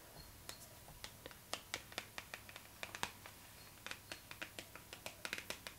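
Long pink acrylic nails tap and scratch across the glossy paper cover of a Vogue magazine lying flat. A quiet, uneven run of short, crisp clicks with a bright, scratchy edge sounds, each dying away almost instantly over faint background hiss.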